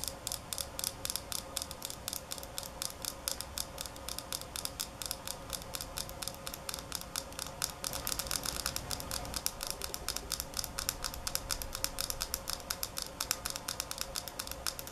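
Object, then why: Small glass nail polish bottle. Long acrylic nails tap rapidly on a small glass nail polish bottle filled with holographic polish and closed with a black cap, held in the hands. The result is a steady stream of crisp, bright clicks, each dying away almost instantly, with a brief stretch of slightly louder, denser tapping midway through.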